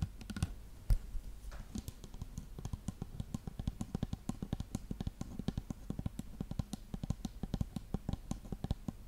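Long nails tap rapidly on a dark plastic shampoo bottle with a silver cap, which appears to be full. The taps are a quick, steady stream of short, dull, low knocks that die away almost at once, with a few louder clicks standing out.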